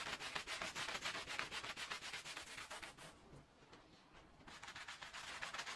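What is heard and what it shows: A green plastic-bristle push broom scrubs a small, oval, red, fringed woven fabric rug lying wet and foamy on the floor. Rapid, rhythmic, bright, bristly rubbing strokes come about four per second, ease into a softer, quieter stretch midway, then pick back up at full pace.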